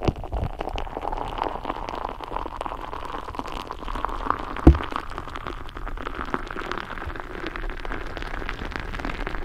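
Long nails tap and scratch across the surface of a filled, soft rubber, purple glitter squishy stress ball while hands squeeze it close to the mic. The result is a steady, dense crackle of soft taps and rubbery scraping over a low, muffled rumble. One louder thump stands out about halfway through.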